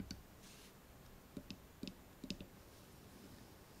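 Fingernails scratch and tap along an open steel folding knife with a solid, dark inlaid handle, lying on a table or held in the hand. The result is a sparse series of short, dry clicks with a low thump and bright metallic ticks, spread over quiet, faint background hiss.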